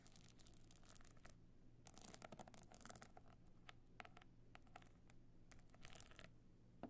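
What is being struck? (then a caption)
Box clutch covered in small stone chips. Long nails scratch and tap the small stone and shell chips covering a box clutch evening handbag held on end. Bursts of bright, dry scratching and clicking come in irregular clusters, with brief pauses between them over a faint, steady low hum.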